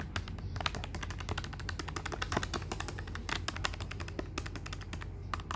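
Fingertips tap rapidly on the plastic keys of a black plastic desktop calculator with a hollow body. The result is a dense run of short, bright, dry clicks with almost no ring, over a steady low hum.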